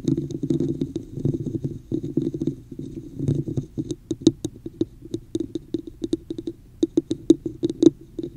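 Long nails tap and scratch near the top of a hollow red textured plastic cup held over the microphone. The first half is a dense, hollow scratching rustle; it then gives way to quick, dry taps with a boxy resonance and almost no ring.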